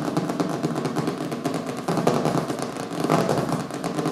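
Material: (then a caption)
Cardboard. Both hands tap and scratch fast with fingertips and nails on the colorful printed cover of a small, solid hardcover book lying flat on a wooden table. The result is a dense, continuous stream of dry midrange clicks and scratchy rustling with bright edges. It dips briefly near the two-second mark, then picks up again.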